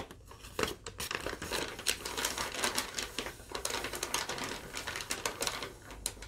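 Long nails tap and scratch along a thin sheet of yellow lined legal-pad paper, then crinkle it. The result is a quick run of dry, bright taps and scratchy rustles with crisp, short attacks and almost no low end.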